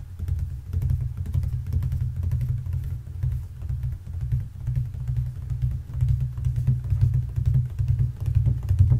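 Fingertips and nails tap and scratch rapidly over the flat brown hardboard (fiberboard) backing of a white-framed picture frame. The result is a dense, continuous patter of soft, dull thuds with a deep low rumble and faint scratchy ticks, each tap dying away almost instantly.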